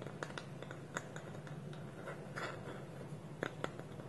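Fingernails tap quickly on a small, hollow, polished wooden bowl whose wooden lid is held against it by both hands on a table. Short, dry clicks with a woody mid-range tone sit over a quiet, steady low hum, each tap dying away almost instantly.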